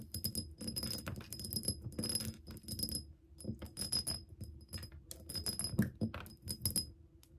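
Long nails tap and scratch a clear, bubble-shaped glass soap dispenser pump bottle, partly filled with liquid and standing on a table. Quick clicking taps mix with bursts of gritty scratching, giving bright, glassy clinks over a faint steady high ring and a soft low thud under each touch.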